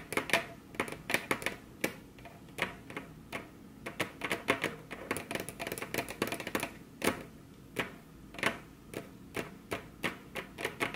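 Very long curved nails tap their tips on a flat, solid, glossy dark-brown wood-grain table top, with both hands resting on the table. The result is a fast, irregular stream of crisp, bright clicks, some in quick bursts and some spaced apart, each dying away almost at once. A faint low hum sits underneath.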